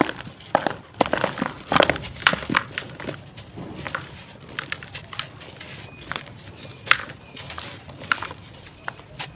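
Bare fingers squeeze and crush a pale, dry, solid but crumbly sand-cement lump held over a red plastic tub containing loose cement powder. The lump gives dry, crisp crunches and crackles as it breaks apart, with bits pattering into the tub. It crumbles and falls into the tub.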